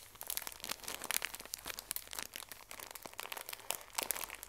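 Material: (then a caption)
Thin plastic. A full, small pocket tissue pack in thin plastic wrap is pressed and crinkled by fingertips and nails. The result is a quiet, continuous crinkling made of many sharp, bright crackles with almost no low end, each snap dying away instantly.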